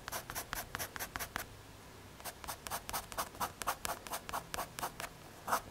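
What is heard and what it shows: A pencil tip scratches and shades across a small, solid square of brown MDF or hardboard held in the fingers, making 22 quick, dry, bright strokes. The strokes come in a run, pause briefly, then resume with slightly louder and rougher scratches.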